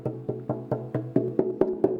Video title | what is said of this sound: Beowulf Discussion with Benjamin Bagby | it's hollow inside so for instance if I tap on it you hear that it's a hollow plank of wood